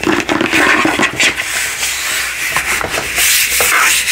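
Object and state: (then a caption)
Plastic globe being rubbed. A large, hollow, frosted plastic light-up crystal ball on a black base, lit from inside, is rubbed and scratched with the palm and fingertips across its surface. The result is a continuous, bright, hissing scrape with rhythmic swells and almost no low end.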